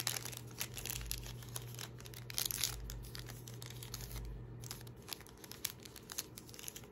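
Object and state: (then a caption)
Paper receipt being crumpled. A thin paper receipt is crumpled, rubbed and folded between the fingertips next to a backpack, making dense, bright crinkles and sharp crackles that come in quick bursts. A steady low hum runs underneath the whole time.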